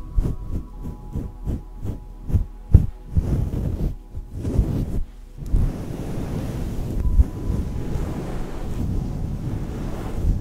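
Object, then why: Synthetic fur microphone windscreen. A fluffy grey-green synthetic fur microphone windscreen, soft and hollow, is scratched and rubbed with long nails and fingertips, at times with a knuckle close to the fur. It opens with a quick series of soft, muffled thumps, then turns into a continuous low, rumbling brushing with occasional heavier bumps. The sound stays dull and bassy, with almost nothing bright in it.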